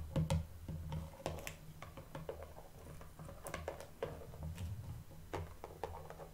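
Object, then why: Small shrink-wrapped cardboard box. A small, hollow, shrink-wrapped printed cardboard blind box with a toy figure inside is held in both hands and tapped with long painted nails. It gives a quick, irregular series of light, crisp clicks and taps that die away almost instantly, over a steady low hum.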